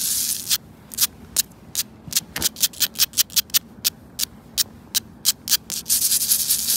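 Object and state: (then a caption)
Concrete paving stones. Long nails and fingertips scratch and rub across grey concrete paving tiles in a sidewalk, a large, solid, rough surface. Continuous bright, hissy rubbing at the start and end frames a rapid series of short, separate scratching strokes in the middle. The sound is almost entirely high-pitched grit with very little low end.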